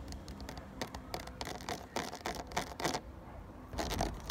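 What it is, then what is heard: Plastic water bottle. Fingertips tap and scratch along the ridges of a full, clear plastic 500 ml water bottle. Quick, irregular bursts of bright, crackly scraping mix with short, hollow plastic taps over a steady low rumble, with a denser flurry near the end.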